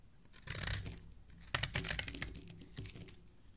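A snap-off steel utility-knife blade repeatedly scrapes the edge and corner of a solid green rectangular bar of soap held in hand, shaving off fine powder and curled shavings. Dry, bright scratching comes in bursts, with sharper crisp scrapes near the middle of the clip before softer strokes trail off.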